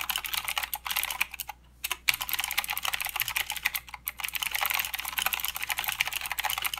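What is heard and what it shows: Fingertips of both hands type continuously on a full-size mechanical keyboard with plastic keycaps and blue clicky switches. The result is a fast, dense stream of sharp, bright clicks and clacks with almost no low end, broken by a brief pause just before the two-second mark and another shortly before four seconds.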